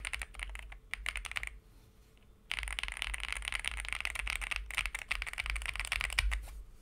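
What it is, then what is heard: Aluminum mechanical keyboard being typed on. Fingertips of both hands type on a white Monka A75 75% mechanical keyboard with a CNC aluminum case, linear switches and plastic keycaps, resting on a desk mat. Rapid, bright keystroke clicks come in dense bursts, with a brief pause before the typing resumes and continues steadily to the end.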